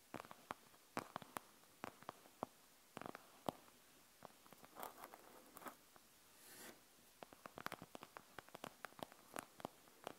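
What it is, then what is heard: Plastic gel bead eye mask. Long nails scratch and tap the surface of a panda gel bead eye mask with a plastic shell and gel beads. The result is a quiet, irregular stream of sharp, dry clicks and ticks, with occasional brief scratchy rasps and soft squishy swells in between. None of the sounds ring on.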